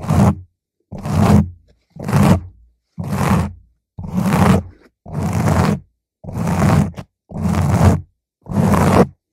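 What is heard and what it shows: Long nails slowly scratch the sides of a round purple foam microphone cover, giving nine separate rough, low-heavy scraping strokes. Each swells and cuts off into a short silence at a steady, unhurried pace.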